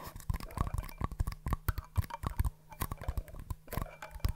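Two small, empty, hollow green-and-white paper cups are held in both hands and tapped rim to rim and with long nails. The result is a quick, irregular run of soft, dry taps and clicks. Each tap is short and papery with a low thud underneath, and it dies away almost at once.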